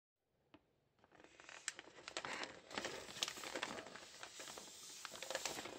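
A large red biodegradable plastic postal mailer bag with a parcel inside is held and squeezed by hands in green rubber gloves. The thin plastic crumples and crinkles with dense, bright, irregular crackling. A single faint crinkle comes first, then the sound swells into continuous rustling peppered with sharper snaps.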